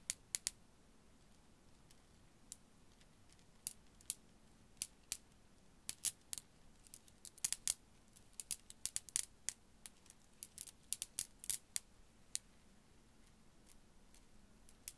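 A hanging strand of small faceted blue glass beads, held by the fingertips close to the microphone, is swung and shaken so the beads clack together. The result is a scattered run of tiny, bright, very short clicks and ticks, sometimes in quick clusters, over a quiet low hum.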